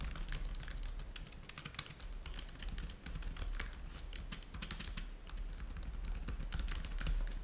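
Both hands type rapidly with the fingertips on a black laptop keyboard with plastic keys. The result is a dense, continuous stream of short, bright clicking taps over a steady low hum.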